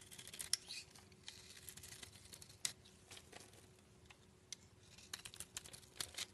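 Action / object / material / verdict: scrape / bar of black soap scraped with a knife blade / soap / none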